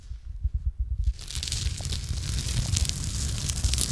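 A gloved hand scratches and rubs the rusty surface of a long iron pipe or bar, likely hollow, that runs across a brick pillar in a basement. For the first second there are low, dull bumps and thumps. Then a bright, gritty scraping rasp sets in and continues steadily to the end over a low rumble.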